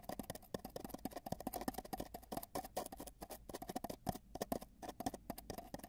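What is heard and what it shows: Fingertips at both ends of a long, hollow, spiral-wound cardboard tube tap it rapidly while a microphone sits inside the tube. The result is a fast, uneven stream of dry, hollow knocks with a woody, boxy resonance and almost no ring after each tap.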